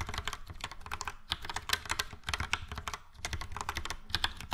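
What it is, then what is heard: Plastic mechanical keyboard being typed on. Fingertips type rapidly on a yellow and grey Logitech POP Keys plastic mechanical keyboard, tapping many of its round plastic keycaps over hollow switch housings. The result is a dense run of short, bright plastic clacks with a hollow low thud under each press, and brief pauses between bursts.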